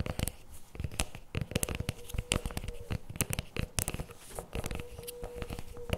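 Fingertips and nails tap and scratch the plastic lid and rim of a CremaNovi paperboard chocolate spread tub resting on a table. A rapid, uneven run of short, dry clicks and scrapes comes through with bright crackly edges, over a faint steady hum.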